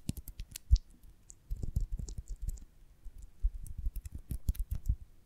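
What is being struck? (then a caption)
Beeswax honeycomb. Long nails tap and scratch the dry cells of an oval beeswax honeycomb on a branch, held from above and below. Quick, dull, low-heavy taps and clicks come in uneven bursts, with faint bright scratchy ticks and short pauses between clusters.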